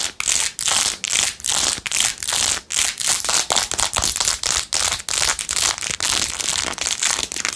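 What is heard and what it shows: Long nails scratch fast across the back and along the edge of a blue-jeweled, rhinestone-covered plastic phone case. The sound is a bright, dry, crackling scrape with almost no low end, coming in quick, uneven bursts separated by brief gaps.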